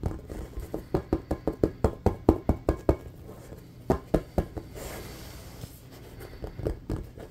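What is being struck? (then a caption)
Inflated rubber ball. Fingernails rapidly tap a hollow, inflated red and black patterned rubber playground basketball, producing about twenty short, dull, low thumps with almost no ring. The tapping pauses for a stretch of soft, rough fingernail scratching across the rubber surface, then a few more taps follow.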